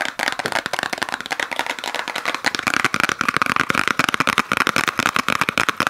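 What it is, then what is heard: Small paper-wrapped gift box. A small gift box wrapped in peppermint-pattern paper with a red ribbon is rapidly tapped and scratched with long nails. The result is a dense run of quick, crisp, papery clicks and scrapes with almost no low end, a bright upper edge and a steady tone around 1.2 kHz throughout.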